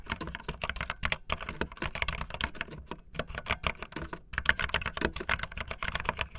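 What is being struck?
Plastic mechanical keyboard.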